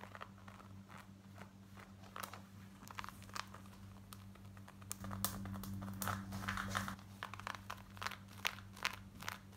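Long nails scratch fast over light grey cotton denim jeans worn on the body, working across the front and the back waistband. Quick, uneven bright rasping strokes sound over a steady low hum, growing louder and denser in the middle before returning to lighter scratches.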